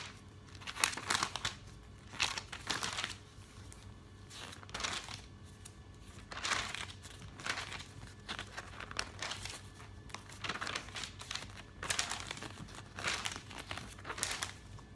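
Fingertips rub the surface of an open glossy paper catalog and flip its pages, producing crisp, bright crinkling. Short bursts of rustling rise and fall over a faint, steady low hum.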